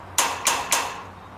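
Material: Metal.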